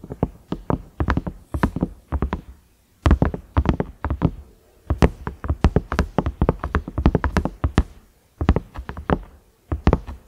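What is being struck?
Silicone microwave lid with knob.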